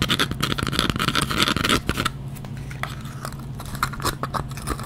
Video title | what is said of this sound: 40 Textures & Materials!! Part 2 (Items 21-40) * Up Close Fast Tapping & Scratching * Soft Spoken | this is kind of a louder sound